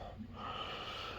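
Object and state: Nothing is struck.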